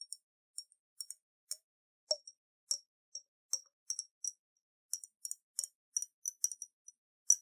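Long nails tap and click on a round, clear glass bottle about half full of water with a silver metal cap, while the bottle is held and tilted. About nineteen short, bright, high clicks and ticks come at an uneven pace, each dying away almost at once, with one slightly fuller, lower plink near the middle.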